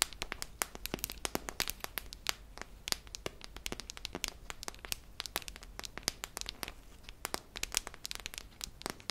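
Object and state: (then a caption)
Metal tin canister. A hollow silver metal tin with a red lid, held up, is tapped and scratched along its body with long nails. Dense, quiet, bright clicks and scratchy crackles patter quickly and irregularly throughout, each one dying away almost instantly.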